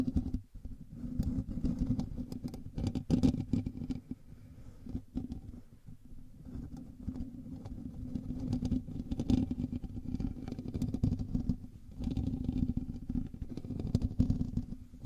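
Fingertips and nails of both hands scratch the hollow metal mesh grille of a black microphone. It makes a dense, muffled, rumbling scratch concentrated in the low frequencies, with rapid crackling strokes. The texture swells and dips in loudness, briefly easing around the half-second, six-second and twelve-second marks.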